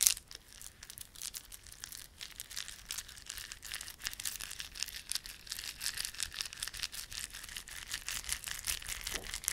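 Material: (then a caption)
Plastic. A small clump of plastic garland, with glossy dark blue and silver solid plastic beads and red spiky plastic fringe, is held in both palms while fingertips rub and squeeze it. It makes a quiet, continuous stream of bright, rapid clicking and crinkling with almost no low end. The clicks are short and dry, growing slightly denser toward the end.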